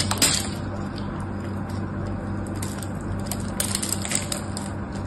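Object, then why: Bar of soap. A small blade cuts into a solid pink soap bar held in the hand, crumbling small cubes off it. Crisp, bright crunching and crackling snaps come in bursts over a steady low hum, with the sharpest cuts near the start and toward the end.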